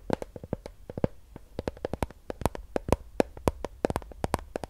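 A Fiji plastic water bottle, hollow and filled with water with a blue cap, is tapped and scratched with long acrylic nails. Rapid, short clicking taps come in an uneven stream with a hollow tone around 500 Hz, each dying almost instantly, over a faint low rumble and light scratching.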